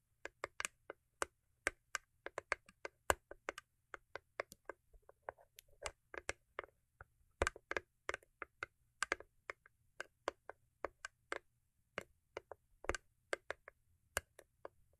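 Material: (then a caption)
Cardboard. Long acrylic nails tap rapidly on the lid top of a small, hollow, cube-shaped rigid cardboard gift box covered in holographic foil paper. Dozens of short, dry, clicky taps come in quick irregular bursts, each dying away almost instantly with a faint papery crackle and a low hollow tone around 570 Hz.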